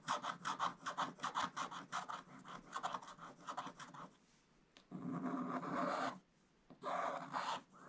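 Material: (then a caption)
Coated paper. A wooden stick scrapes the black coating off a coated scratch-art paper page with broad strokes, making dry, rasping scratches. A quick, uneven run of short strokes fills the first four seconds, then after a brief pause come two longer, steadier scrapes with a bright, papery hiss.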